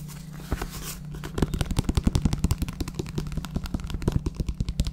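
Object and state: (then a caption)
Paperback book. A paperback book with a paper cover and pages is held in the hands while its pages are flipped and riffled and its cover is handled and tapped with the fingers. A soft papery rustle opens the clip, then around 27 quick, dull, low taps follow in an uneven rhythm, each dying away almost instantly over a faint steady hum.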